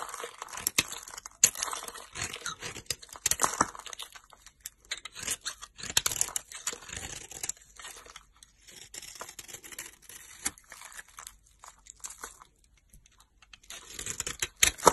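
A solid pink bar of soap held in the hand is scraped with a utility knife blade, shaving off pink flakes that fall away. Dense, dry scraping and crunchy tearing sounds dominate, bright and crackly with almost no low end. The strokes come in irregular bursts, with quieter gaps in the middle and a louder flurry near the end.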